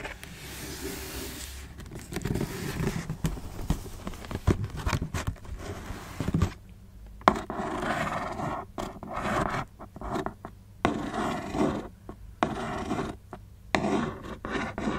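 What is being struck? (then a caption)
Cardboard shoebox. Fingertips and long nails tap and scratch the taped side panel of a closed black cardboard Converse shoebox. Dry, close scraping and scratching sounds mix with soft, muffled taps in uneven bursts with brief quiet gaps.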